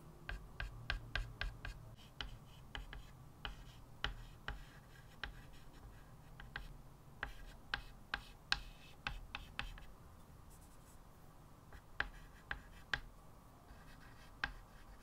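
A small white stick of chalk held in the fingertips writes and draws on a flat, solid blackboard in a wooden frame. Quick, sharp tapping and scratching strokes click out irregularly over a soft, low background hiss, each stroke bright and dying away almost at once.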